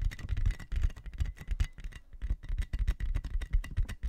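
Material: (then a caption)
Plastic. A large, clear, inflated plastic air-column cushion packaging sheet with hollow air tubes is held in both hands close to the mic while fingertips and nails tap and scratch it. It gives a quick run of short, dull, low thumps with faint crinkly rustle and a thin ringing tone above, each tap dying away almost at once.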